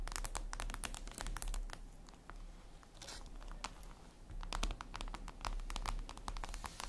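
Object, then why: Glass tablet screen. Long red nails tap rapidly on a flat, glossy black reflective glass surface, likely a tablet screen. The taps are dense, sharp and bright clicks that die away almost instantly, in uneven bursts over a steady low hum. Overall the clip is quiet.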